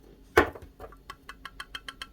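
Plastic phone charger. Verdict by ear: Loose.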